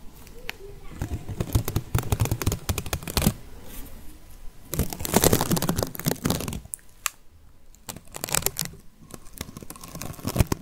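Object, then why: Whole onion with dry papery skin. A whole, solid, medium-sized yellow onion with its dry papery brown skin on is held in one hand near the microphone and tapped with long painted fingernails, then given a light scratch. Quick clicking taps and crisp, crinkly rustling of the papery skin come in bursts separated by quieter pauses, with soft low thumps beneath the bright, dry clicks.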